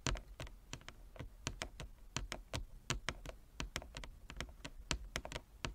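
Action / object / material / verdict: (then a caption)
tap / wooden chess board / wood / none. Fingernails tap rapidly on a wooden chess board, producing a quick, uneven run of short, dry clicks with bright tops and a soft low thud beneath each one. The taps die away almost instantly, with no ringing between them.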